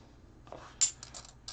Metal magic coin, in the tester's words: it sounds Hollow when they drop it